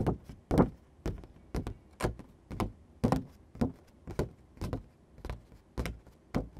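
Fingertips and short nails tap and scratch across a thin sheet of matte green construction paper lying on a dark surface. The taps come about twice per second in a loose rhythm, each a soft, dull thump with a brief bright tick from the nails. Each tap dies away almost instantly.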